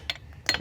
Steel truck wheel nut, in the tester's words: it sounds Hollow it's because the wheel nuts firmly up against the wheel so it makes a hollow sound cuz it's going through the whole wheel